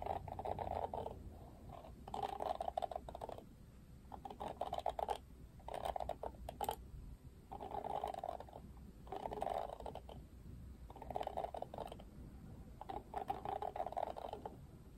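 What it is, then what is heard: Plastic detangling hairbrush. Fingertips and nails sweep over the pink-tipped plastic bristles of an oval plastic paddle detangling hairbrush with a black cushion. The result is eight quiet, crackly rustling strokes, each a dense patter of tiny plastic ticks centred in the low-mids, separated by short near-silent gaps.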